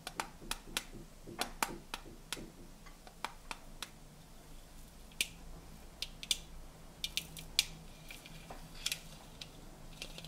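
Fingernails tap the open rims and sides of hollow, cylindrical tinplate tea canisters stacked in colored sections of blue, gold and magenta. The result is an irregular run of sharp, bright metallic ticks that die away almost instantly, over a faint, steady low hum.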